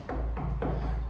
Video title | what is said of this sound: Abattre ou ne pas abattre ! Ep3 | sonne beaucoup plus creux celui-là